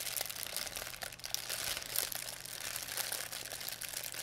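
A thin white plastic pharmacy bag with red and blue print, crumpled into a ball, is crinkled and squeezed in both hands by fingers with long painted nails. The result is a steady stream of bright, crisp crackling with very little low end, rising and falling slightly as the plastic is worked.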